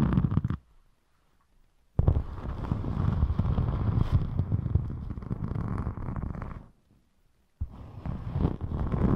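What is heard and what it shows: Long pointed metallic nails scratch and tap across a thin, flexible rainbow glitter EVA craft foam sheet held in front of the microphone. A short burst of rough, low-heavy scratching is followed by a pause, then a long dense scraping stretch of rapid, uneven taps and rasps, and after another pause the scratching resumes to the end.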